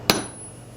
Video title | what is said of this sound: Jade of the Maya | from jade you get a metallic ring. It's like hitting an anvil.